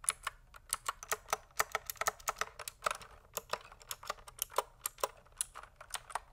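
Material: Plastic.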